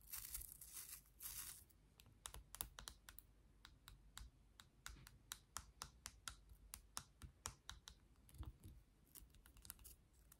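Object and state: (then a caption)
Plastic toothbrush. Long nails scratch the bristles of a pink and clear plastic toothbrush, making a brief, bright rasping burst at the start. They then tap its handle in a long run of quick, dry, sharp clicks that die away almost instantly, over a low, quiet background rumble.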